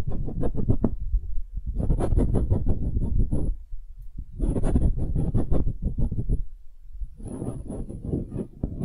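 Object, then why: Small wooden half sphere. Long nail tips tap quickly on a small, solid wooden hemisphere in four bursts of rapid clicking separated by short pauses. Each tap is short, dull and low-weighted, with a faint bright tick on top.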